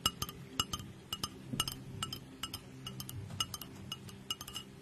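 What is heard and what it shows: Long nails tap and clink on the sides of a small, clear glass mug with a handle and a lid, held in one hand close up and apparently empty. The result is an uneven run of short, bright glassy clinks ringing near 2.9 kHz, each dying away almost at once over a low, soft background.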